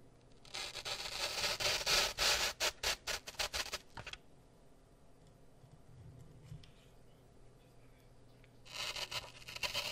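Fingertips and nails strum and flick rows of wooden toothpicks stuck in a solid, porous grey floral foam block. A bright, dry scratching rush builds and breaks into a quick run of separate flicks, then quiet for several seconds, before another burst of bright strumming at the end.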